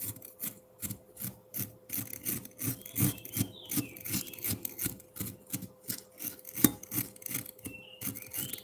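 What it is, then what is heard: Frozen milk ice scraped with a fork. A metal fork repeatedly scrapes a solid block of frozen pineapple milk ice in a bowl, making quick rasping strokes at about two to three per second. Each stroke is a short, gritty scratch with bright crackle over a low scraping body, with a steady faint hum underneath.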